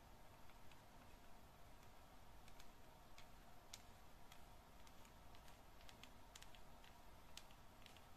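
Long patterned nails tap and scratch a solid yellow bar of soap, now slightly damp, held over a basin with some water. Soft, sharp ticks and brief scrapes pop out irregularly over a quiet, steady low rumble, each click bright and short with little ring.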